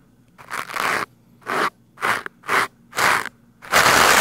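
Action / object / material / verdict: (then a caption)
scrape / foam microphone windscreen and plastic scrub brush / foam / none. A stiff-bristled green plastic scrub brush is rubbed against the sides of a black foam microphone windscreen. It makes a series of loud, dry crunching, scratching bursts separated by short silences, ending in a longer sustained scrub. The sound is bright and crackly with almost no low end.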